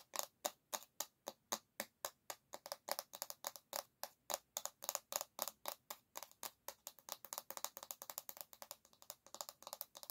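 Long nails tap quickly on the solid bamboo back of an oval hairbrush, making about 57 short, dry wooden clicks with a bright, crisp tone. The taps start at a steady pace and grow faster and denser toward the end.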